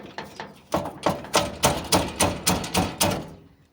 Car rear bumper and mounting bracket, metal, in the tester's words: quando passa em lombada, passa em buraco, é esse barulho aqui que eu ouço